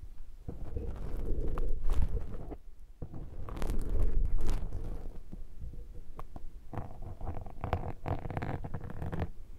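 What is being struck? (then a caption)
Foam microphone windscreen. A thin metal pick scrapes, scratches and squishes the surface of a black foam microphone windscreen throughout. The result is a dense, rumbling, scratchy crackle dominated by low frequencies, swelling loudest around 2 and 4 seconds and briefly dropping away near 2.7 seconds.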